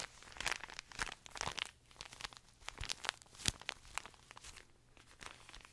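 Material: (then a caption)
Plastic film. A small colorful pocket tissue pack, wrapped in thin plastic film and full of paper tissues, is crinkled, squeezed and scratched with fingertips and nails close to the mic. The result is a run of bright, crackling crinkles and sharp tearing-like rustles in quick, uneven bursts, with quiet gaps between.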